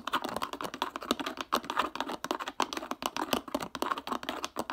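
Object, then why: Plastic water bottle with ridged plastic cap. A clear PET plastic bottle with a black ridged plastic cap is held in the hands while the cap is twisted and its ridges are scratched with fingertips and nails. The result is a fast, dense run of short, dry clicks and scratches, mostly in the midrange with some bright edges and almost no low end.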